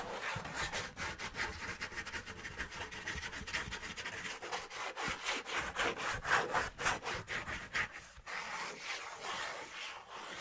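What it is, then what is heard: Cardboard sheet. A thin, flat piece of brown cardboard, held in both hands, is rubbed and scratched with fingers and nails. The result is a steady run of dry, papery scraping strokes at roughly two per second, with the brightest energy in a raspy midrange around 1.5 kHz, hissy highs and very little low end.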